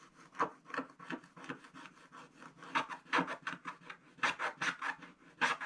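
A wooden stick scratches the black coating off a coloured card page of a spiral-bound scratch-art book, the thin page lying flat and solid on a table. A quick series of short, dry, rasping strokes sounds, each a brief scratchy burst with a papery mid-range hiss and bright edges and almost no low end.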